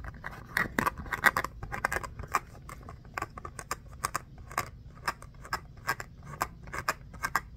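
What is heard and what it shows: A small, solid orange foam stress ball shaped like a mini basketball, with a pebbled texture, is scratched with short fingernails while held in both hands. Quick, dry scratchy strokes come in an irregular patter, each a brief bright burst that dies away almost at once over a faint low rumble.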